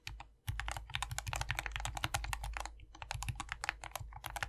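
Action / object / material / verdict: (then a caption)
tap / plastic mechanical keyboard with PBT keycaps / plastic / none. A compact 60% SK61 optical mechanical keyboard, modded and lubed, with a foam-filled white plastic case and green, white and pink PBT keycaps, is typed on continuously by two hands using their fingertips. After a brief quiet start, a dense, steady stream of short, crisp clacks plays over a low rumble, each keystroke cutting off almost instantly with no ring.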